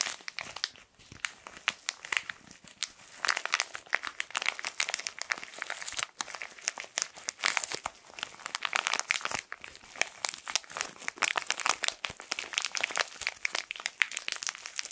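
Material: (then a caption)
Plastic film. A small printed plastic-wrapped tissue packet, held horizontally, is squeezed and crinkled with the fingertips. The result is a dense, continuous stream of sharp, bright crackles and crinkles with almost no low end, and each crackle stops instantly.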